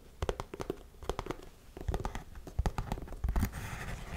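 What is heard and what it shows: Long nails scratch and rub the toe and side of a tan suede lace-up boot held up close. An irregular run of short, dry scratching strokes is heard, each with a soft low thump underneath, and the last second turns into a steadier, brighter rubbing.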